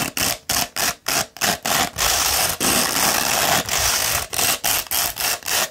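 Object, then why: Coarse sandpaper sheet rolled into a tube. A coarse 60-grit sandpaper sheet, rolled into a hollow tube and held in one hand, is scratched with the long red nails of the other hand. The gritty, bright, hissing scratches come in quick uneven strokes, with a couple of longer drawn-out rasps in the middle. There are short gaps between the strokes.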